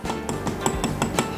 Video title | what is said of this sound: 【緊急収録】TIMEMORE（タイムモア）『C3sシリーズ』が正規販売開始！〔610th〕 | ここがメタルになりました全然音が違いますよね